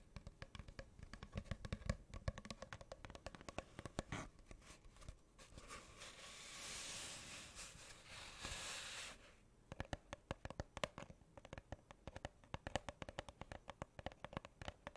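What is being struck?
Cardboard tube.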